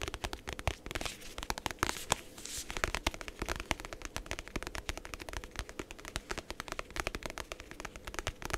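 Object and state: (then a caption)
Faux leather notebook cover. Fingertips and nails rapidly tap and scratch the faux leather cover of a closed, medium-size navy hardcover journal held in both hands. The result is a dense, continuous stream of short, dry clicks and scratchy rasps with almost no ring.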